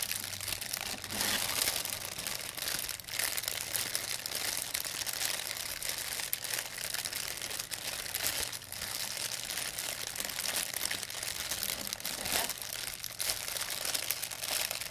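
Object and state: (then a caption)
Thin plastic bag being crinkled. A thin, empty white plastic pharmacy bag is crinkled and crushed in both hands with long nails. A steady, dense stream of bright, crackling rustles continues for about fifteen seconds, with almost no low end and only brief dips in the texture.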